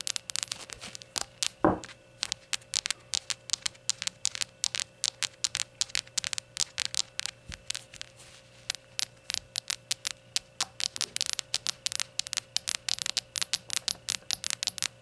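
Long gold nails rapidly tap and scratch a small glazed ceramic rainbow shot glass as it is turned from its white unglazed base onto its side. Dozens of short, bright clicks with very brief ring-out come in quick, uneven bursts, with a few soft scraping strokes. A low, steady hum runs underneath throughout.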